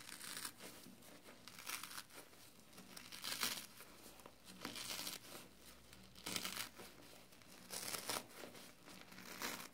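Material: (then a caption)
Foam. A soapy foam kitchen sponge with a scouring pad is crushed and squeezed between fingers. It gives off quiet, bright crackling and crinkling in irregular swells, with each squeeze building into a hissing burst of high, wet fizz before easing off.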